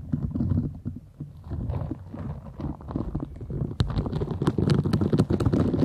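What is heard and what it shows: Long acrylic nails scratch and rub across the soft bristle nubs of a small round green silicone cleansing scrubber held close to the microphone. The result is a dense, low, muffled rubbing with quick irregular scratchy strokes. It grows louder and crisper after a sharp tap partway through.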